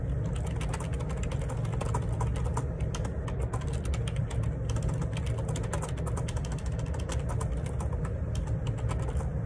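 Fingertips type steadily on the plastic keycaps of a black Perixx Periboard 612 wireless Bluetooth dual ergonomic split keyboard with a hollow plastic housing, resting on a desk. A fast, dense stream of soft clicks and taps runs throughout over a constant low hum that dominates the sound.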